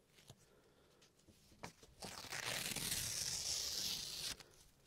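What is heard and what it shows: A thin sheet of paper, held in the hands at chest height, is ripped into pieces by the fingertips. A few faint, sharp crinkles give way to a long, loud, bright tearing rasp that cuts off abruptly, leaving the paper in torn pieces.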